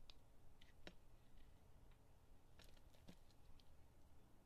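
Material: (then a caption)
Soap. A metal blade shaves flakes off a solid purple oval soap with a green-gold painted top, held in the hand. Soft, scattered crisp scraping clicks with bright edges sit over a quiet low rumble, each cut brief and dry.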